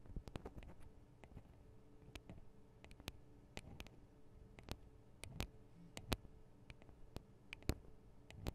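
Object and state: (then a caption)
Metal microphone capsules tapped with fingernails. Long acrylic nails on both hands tap the small hollow metal microphone capsules of a Tascam DR-40 recorder. The result is quiet, irregular bursts of sharp, bright clicks that die away instantly, over a low, steady handling rumble with a faint hum.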